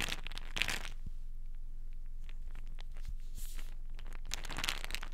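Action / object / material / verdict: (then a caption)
scrape / plastic pill bottle with paper label / plastic / none. Long nails tap and scratch the side and paper label of a small white plastic vitamin pill bottle held in the hands, which is probably filled. Bright, scratchy rasps flare near the start and again toward the end, with soft, quick ticks in between over a steady low hum.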